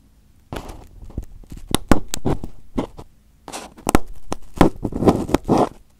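Fingers pick, pinch and peel at crumpled aluminium foil wrapped over a microphone head, producing close, crisp crinkling and tearing sounds. Bursts of crackle come in two runs with a brief quiet gap between them, mixed with sharp snaps and bright rustling.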